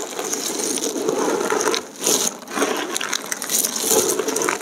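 A large heap of thin, brittle, multicolored dried soap plate shards is pressed, crushed and rubbed together by bare hands and fingertips, with some pieces lifted and dropped back into the pile. The result is a steady stream of dry, crackly clicking and crunching with bright, high edges and a body around the mids. There are brief lulls near the two- and two-and-a-half-second marks.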